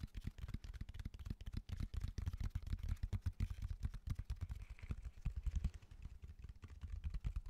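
A solid natural cork bark slab with a rough surface is held upright and rapidly tapped with the fingertips of both hands, including from the top edge. It makes a dense, continuous patter of soft, dull, low thuds with almost no ring.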